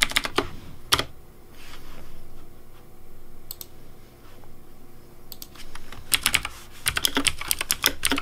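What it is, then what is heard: Plastic mechanical keyboard. Fingertips type on a pink Razer DeathAdder V3 plastic mechanical keyboard with hollow plastic keycaps. Bursts of sharp, bright clacks with a low thump underneath alternate with quieter pauses, and the keystrokes cluster densely near the end.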